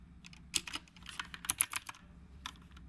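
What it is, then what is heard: Mechanical keyboard typing. Fingertips of both hands type continuously on a black retro typewriter-style mechanical keyboard with round plastic keycaps. About ten sharp, bright clacks land in quick, uneven succession, each dying away almost instantly over a faint low hum.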